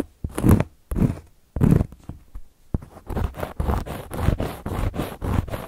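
Long gold metal claw nails scratch across a round, flat, solid cork coaster. A few slow, separate rasping strokes give way to a quicker run of dry, scratchy swipes, mostly low and muffled with a papery scrape on top.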